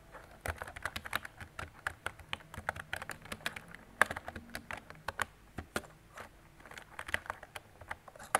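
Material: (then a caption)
Plastic. Fingertips with painted nails type continuously on a mint-green mechanical keyboard with round, retro typewriter-style plastic keycaps and hollow key switches, resting on a desk. About 36 quick, dry plastic clicks and clacks follow one another at an uneven pace, each centered around 1.6 kHz with a bright edge. Every click dies away almost at once, with a few louder strikes standing out.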